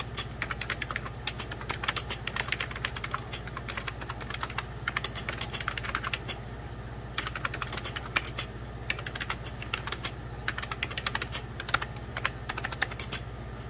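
A beige 1990s Packard Bell hollow plastic computer keyboard is typed on with the fingertips of both hands, giving a steady run of quick, bright clicky key taps in irregular bursts. A low constant hum sits underneath the tapping throughout.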